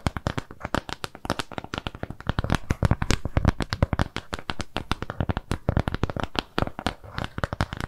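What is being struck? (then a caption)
Flat round kraft cardboard piece. Long nails scratch and tap a flat, round brown kraft cardboard shape trimmed with jute. A steady, rapid stream of dry, short taps and scratches runs throughout, each one dull, low-weighted and quickly damped with almost no ring.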